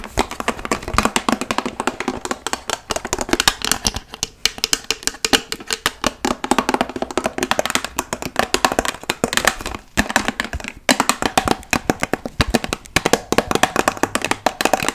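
Long nails covered in paperclips tap rapidly on a large, hollow, clear plastic water bottle that is partly filled. The result is a steady, dense stream of sharp, bright clicks that die away almost instantly. The clicks centre around 3.8 kHz and have very little low end.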